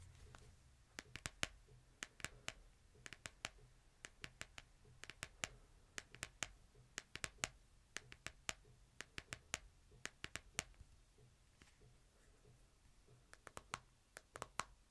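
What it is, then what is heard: Smartphone in plastic case, tapped screen. A smartphone in a plastic case rests flat in a palm while fingertips and nails tap on its glass screen. Dozens of quiet, short, bright clicks come in irregular bursts with brief pauses, each dying away almost instantly. A faint, steady low hum runs underneath throughout.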